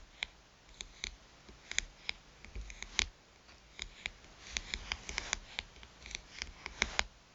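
Long nails tap rapidly on the glass screen of a small touchscreen smartphone lying face up, its screen framed by a metal rim. The taps are short, sharp, high-pitched clicks that die away almost instantly, coming in quick irregular bursts over a faint background hiss.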